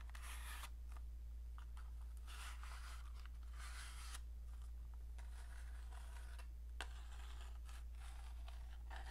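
Long dark painted nails scratch along the surface and striker edges of a small rectangular cardboard matchbox held in the hand. Bursts of soft, bright, papery scratching come and go over a steady low hum. The level stays quiet and even throughout.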